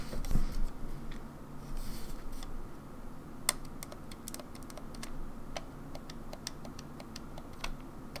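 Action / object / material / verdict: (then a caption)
tap / plastic game controller / plastic / none. A grey, hollow plastic Nintendo 64 game controller with coloured buttons sits first on a wooden table and is then held in both hands while long nails tap its face buttons and shell. The result is a stream of light, short, bright plastic clicks at an uneven pace over a soft low hum, with one sharper click standing out partway through.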